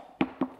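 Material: Paper.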